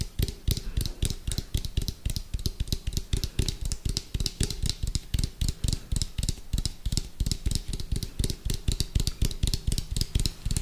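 Fingertips and nails tap quickly and hard on the side of an orange, hollow, round plastic food container with a white lid, held sideways. The taps form a fast, uneven stream of short, deep, hollow thuds with bright, clicky nail ticks on top. Each tap dies away almost at once.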